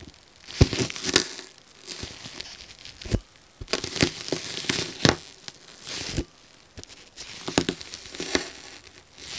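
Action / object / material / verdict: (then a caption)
scrape / frozen foam sponge / foam / none. A metal fork repeatedly scratches the top of a frozen yellow foam sponge block, leaving marks, while a gloved hand steadies it. Short bursts of dry, crackling, crunchy scraping come and go, bright and gritty with little ring, separated by quiet gaps.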